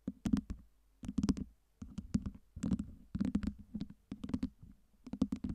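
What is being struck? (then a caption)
Stacked acrylic fake ice cubes. Long nails tap and scratch the faces of a tower of small clear acrylic fake ice cubes with LED lights, stacked over a round base. Quick bursts of crisp plastic clicks and light scrapes come in short clusters separated by brief pauses, each with a dull low body and a bright, short-lived tick.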